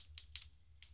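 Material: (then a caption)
Gel polish. Three short, sharp, high-pitched clicks come from tapping a gel polish and cornstarch artificial nail after it has cured and the powder has been dusted off. The bright ticks die away almost instantly, with no ring. The hard clicking shows the nail has cured hard.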